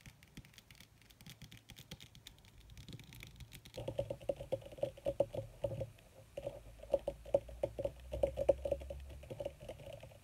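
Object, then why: Wrinkled leather sheet. Long red nails tap and scratch across a wrinkled black leather (possibly faux) sheet as the hands move. The sound starts as soft, scattered scratching and turns into quick, crisp taps with a hollow midrange tone from about four seconds on, with many short, closely spaced clicks.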